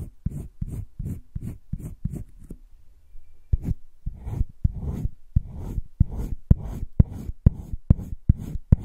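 A light green wooden colored pencil is rubbed back and forth over the page of a spiral-bound paper sketchbook lying flat on a table, shading a heart shape. The result is a steady run of short, dry scratching strokes, with a brief pause in the middle before the rhythmic rubbing resumes.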